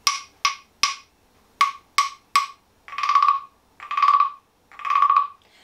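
A small, green-painted, hollow wooden frog guiro with a ridged back is held in one hand and played with a green wooden stick. Six sharp, hollow, woody clicks come in two groups of three, ringing around 1.1 kHz with a bright edge. They are followed by three longer rasping scrapes along the back ridges, each a buzzy, croaking ratchet.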